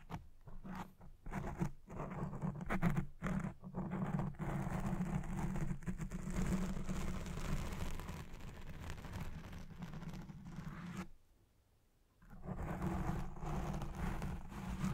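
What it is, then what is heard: Foam microphone windscreen being scratched. Fingernails and fingers scratch and rub a black foam windscreen on a Blue Yeti Pro microphone. This produces a dense, muffled, low scratching rumble, with short bursts at the start, then steady continuous rubbing. A brief near-silent pause comes about three-quarters of the way through before the scratching resumes.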